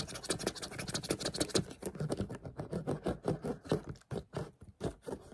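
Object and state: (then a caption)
Plastic water bottle. A clear plastic water bottle, held up close, is scratched with the fingernails of the hand gripping it. About twenty quick, dry scratching bursts follow one another, with a bright, hissy texture over a soft crinkly body. Each stroke stops almost at once, and the last strokes are sparser with brief silences between them.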